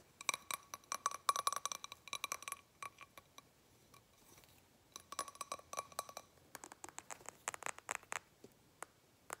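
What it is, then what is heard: Glass candle jar filled with wax. A medium blue glass candle jar filled with solid wax is tapped with fingernails on its sides and on its labeled base. Quick bursts of bright, clicky glass taps with a faint tone near 1.1 kHz die away almost instantly, with a short quiet pause midway before the tapping resumes.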